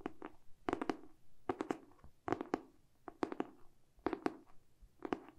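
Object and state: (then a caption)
Hardcover book. Fingertips and short nails tap and scratch the glossy cardboard back cover of a hardcover book held in both hands. Quiet, dry taps come in quick clusters with a hollow mid-range knock and bright clicky edges, separated by soft scratching. Each hit dies away almost instantly.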